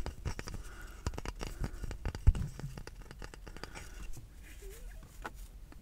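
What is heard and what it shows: Fingertips and nails tap and scratch along the grooved, flat, solid wooden back of a small handheld brush with a wooden handle, held up close to the microphone inside a car. Quick, dull, bass-heavy taps mix with soft scratchy rustles, and one sharper knock stands out near the middle before the tapping thins out and fades.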